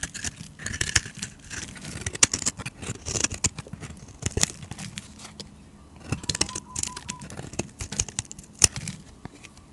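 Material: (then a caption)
Soap. A utility knife blade scrapes fine shavings off a solid, hand-sized bar of white soap with a green edge. A rapid run of dry, bright scratching and crackling strokes comes through, with a few sharper clicks standing out over a quiet low background.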